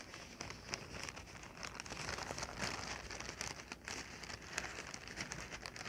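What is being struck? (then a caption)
Inflated plastic air-cushion packing pillow. A clear, hollow, air-filled plastic packing pillow is held in the hands and squeezed, crinkled and tapped with fingertips and long nails. The result is a steady, bright crackling and crinkling texture, scattered with sharp little taps and short, soft rustling swells.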